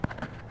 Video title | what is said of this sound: Pro Tip: coconut opening (mature nut) | they don't shake at all. They don't make any noise because there's no air inside.